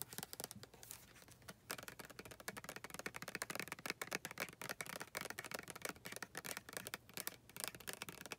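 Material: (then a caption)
Plastic. Long nails tap quickly on the back label of a white plastic lotion bottle, making a dense run of dry, bright clicks and light scratchy rustles with almost no ring. The taps come in rapid clusters with brief pauses, mostly in the upper frequencies with little low end.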